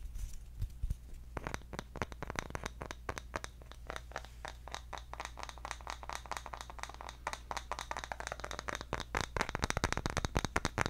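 A round, engraved, palm-sized bamboo jar lid is held in both hands and tapped with the fingertips on its engraved top. The result is a quick, irregular patter of dry, short clicks that grows denser and louder toward the end, with a steady low hum beneath.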